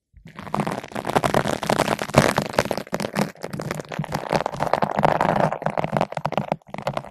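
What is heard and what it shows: A long bottle brush with green and white nylon bristles, held in both hands, is rubbed back and forth across a large yellow-pink foam ball windscreen fitted over a microphone. The result is a dense, continuous scratchy rustle of rapid bristle strokes with a muffled, midrange body, swelling and dipping with the back-and-forth motion before trailing off at the end.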